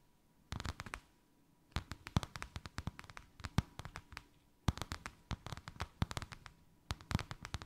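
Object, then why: Faux leather sheet. Long white acrylic nails tap and scratch quickly on a thin white faux-leather sheet with a snakeskin emboss, draped over something rounded. Bursts of dry, fast clicks and soft scrapes come in clusters separated by short pauses. The hits are mostly low and dull, with very short ring, over a faint steady tone.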